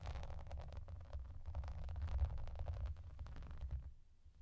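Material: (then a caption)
Plastic. Both hands with long dark-painted nails scratch the raised bubbles of a translucent, clear plastic bubble bath mat. A dense run of quick, soft ticks and scratches rides over a deep, boomy rumble, then fades out near the end.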